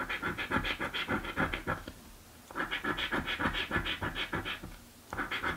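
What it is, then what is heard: Paper scratch-off lottery ticket. A coin scratches a thin, flat blue cardboard scratch-off lottery ticket in quick back-and-forth strokes. The dry, raspy scraping comes in three bursts separated by short pauses.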